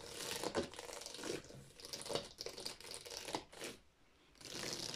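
Long painted nails tap and scratch along the spines of a row of hollow, empty plastic Wii game cases standing in a drawer. The result is bright, crinkly scraping broken by sharp plastic clicks, with a brief quiet gap near the end before the scratching picks up again.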